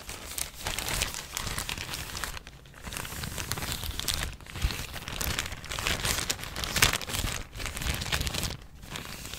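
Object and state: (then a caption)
Thin plastic bag being crinkled. A thin, empty yellow plastic bag is folded and crinkled with the fingers. A continuous dense crinkling with bright, crackly texture swells in bursts, broken by a few brief quieter pauses.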